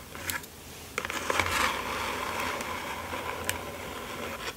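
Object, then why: Small closed cardboard mailer box. Fingertips and long nails rub and scratch along the edges and sides of a small, closed, hollow kraft cardboard mailer box resting on satin fabric. Bright, dry scraping swells and fades, broken by a few sharp ticks where the nails catch the edges. A low hum sits underneath throughout.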